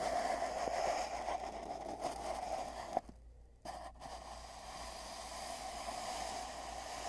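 Fingertips rub the ends of a long, hollow, empty cardboard tube wrapped with tape bands, then tap and rub along its middle, as heard from inside the tube. A steady hollow resonance rings around 720 Hz under soft scraping and rustling, with a sharp tap near the middle of the clip followed by a brief near-silent gap before the rubbing resumes.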